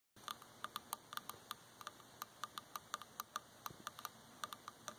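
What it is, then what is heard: Wooden object being tapped. A wooden object is tapped repeatedly, giving a steady run of sharp, dry ticking taps with short ring and a bright click around 1.2 kHz. About 23 distinct taps sound over roughly five seconds at an uneven, quick pace against a quiet background hiss.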